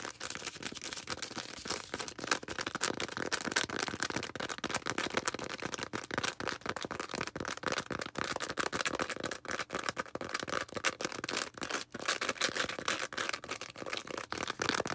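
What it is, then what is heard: Foam sponge being scratched and tapped. Long red nails scratch and tap rapidly on a small green foam sponge. The result is a dense, continuous stream of quick, dry clicks and bright scratching with almost no low end, steady throughout.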